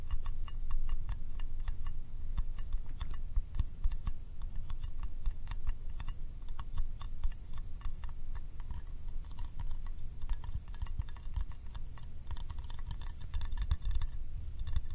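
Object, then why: Small metal candy tin. Fingertips tap rapidly on the lid and side of a small round yellow metal candy tin held in the hand. The result is a steady stream of short, dry, bright clicks that stop almost instantly, over a low, constant background rumble.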